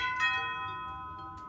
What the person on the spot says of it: you can hear it rings for a pretty long time